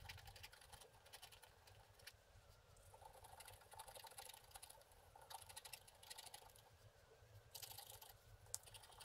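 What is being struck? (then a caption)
Wax-coated scratch art card scraped with a wooden stick. A wooden stick scratches the black wax coating off a flat scratch art card resting on a table, in short repeated strokes. The clip is a quiet, steady run of dry, bright, papery scratches with quick, crisp bursts that fade instantly, over a faint low rumble, with a few louder flurries near the end.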